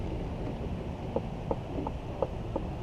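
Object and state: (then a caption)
Hollow tree trunk. Five hollow knocks on the trunk of a London plane tree that is hollow inside, each a short, sharp tap ringing around 500 Hz. The knocks are spaced about a third of a second apart over low, rumbling outdoor background noise.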